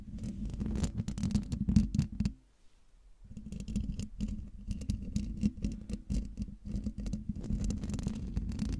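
Long dark nails scratch the hollow domed metal mesh grille of a silver Blue Yeti microphone, making dense, rapid, scratchy patter over a low, humming body. The scratching stops for about a second of near silence, then resumes and continues steadily to the end.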